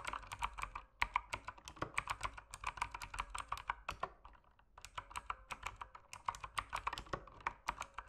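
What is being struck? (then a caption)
Mechanical keyboard with plastic keycaps. Fingertips type steadily on a mechanical keyboard with plastic keycaps, producing a fast stream of sharp, bright clacks with a clicky tone around 1 kHz. The keystrokes run in quick bursts, pause briefly around the middle, then resume at the same pace, each one dying away almost instantly.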